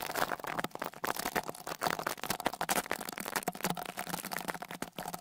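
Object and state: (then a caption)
Brush scraped over a metal microphone grille. A small dark rat-tail brush with a wooden handle is brushed over one of the two small X-Y microphone capsules, covered by metal mesh grilles, on a Tascam Portacapture X8 handheld recorder. The result is dense, scratchy, crackling brushing strokes with bright, close-up texture and a faint tonal ring around 730 Hz, all rising and falling in rapid uneven bursts.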